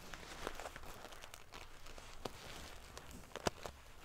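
Fingernails scratch and ruffle the silver metal paillettes of a metal sequin-covered pillow, making a quiet, steady crinkling rustle. Sharp, bright ticks and clicks stand out over it, the loudest near the end.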